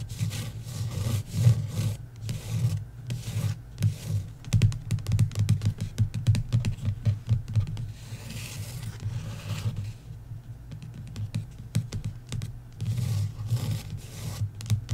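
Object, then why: Paperback book with card cover. Fingertips and nails rub and scratch the card cover of a paperback book lying flat. A continuous low rubbing murmur runs throughout, scattered with quick, dry scratchy ticks and brief brighter strokes, and eases to a quieter shuffle near the end before picking up again.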